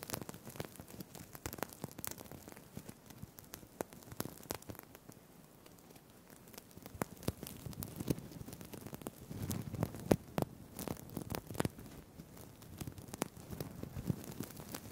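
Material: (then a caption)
Plastic. Fingertips and nails rub and scratch a green-blue sequined fabric crinkle tie, with plastic sequins sewn on textile, held in both hands next to a Tascam mic, flipping the sequins. The result is a soft, dense, irregular crackle of tiny clicks and rustling, thinning out around five to six seconds and growing busier and fuller again from about nine seconds.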